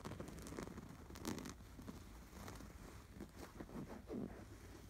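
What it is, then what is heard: Canvas pillow with embroidery, scratched. Fingertips scratch the embroidery on a stuffed canvas pillow with an appliquéd sweater design. The result is a quiet, dry, scratchy rustle in uneven strokes, with soft crackling texture and a dull, low-heavy body.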